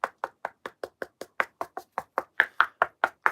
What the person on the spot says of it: it does feel a little bit different at the top. I don't know if you can hear the difference.